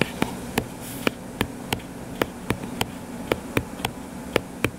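Fingertips with short nails scratch and rub the cover of a closed hardcover paper book with a blue cover, lying flat and solid. About 13 sharp, dry clicks with bright edges and almost no ring stand out over a soft, steady scratchy rustle and a low hum.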